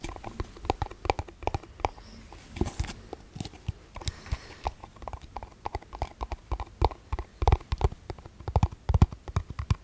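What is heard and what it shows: Fingertips and nails tap and scratch a small, hollow, empty, clear plastic cup held close to the microphone. Dozens of quick, irregular taps land as dull, clicky knocks that die away almost instantly, with brief brighter scratchy passages between them. The taps grow slightly denser and louder toward the end.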